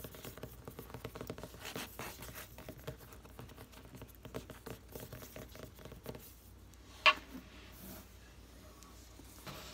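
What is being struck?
Paper hardcover book.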